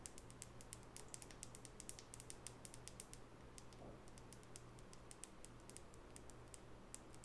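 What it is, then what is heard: Wooden nail brush tapped with fingernails. Long natural fingernails tap the flat wooden side of a small, solid light-wood nail brush with natural bristles held in the other hand. The result is a fast, irregular stream of short, bright clicks that die away almost instantly, over a steady low hum.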